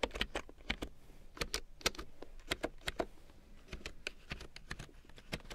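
Long nails and fingertips type on a black plastic large-print computer keyboard with yellow keycaps, making an irregular run of sharp, bright plastic clicks and taps. Each click is short and dry, and a faint low rumble sits underneath.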